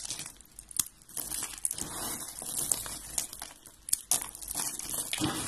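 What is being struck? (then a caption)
Soap shavings crushed by hand. Finely crushed dry white and blue soap flakes on a gold surface are squeezed and crumbled by hand and fingertips with red-painted nails. The result is a steady, bright crunching and crinkling with many sharp crackles over a soft hiss.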